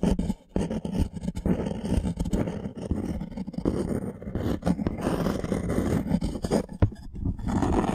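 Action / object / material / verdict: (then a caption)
scrape / thin wooden plank / wood / none. Thumbnails and fingernails scratch the surface of a thin, solid light-wood plank held upright. The result is a dense, continuous rasping scrape, heavy in the low end with little brightness, broken by brief dips and sharp little catches.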